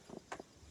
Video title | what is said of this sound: TJMF Jewish New Year 5781 - Back to the 80's! | shake it sounds like it came out